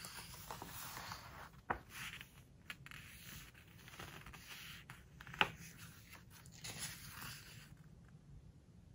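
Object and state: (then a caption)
Glossy book pages being turned and smoothed. A page of a glossy-paper book is turned and then smoothed flat with fingertips. Soft, bright paper rustling and sliding swishes run throughout, broken by two sharp crisp snaps of the page.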